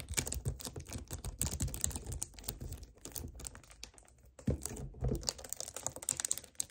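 Fingertips quickly tap, grip and scratch the sides of a hollow 1 L white plastic strawberry kefir bottle standing on a table. Dense, rapid clicky taps and scratchy rustles come with a soft low thump, bright crisp edges and almost no ring. The activity briefly thins and quiets partway through before resuming.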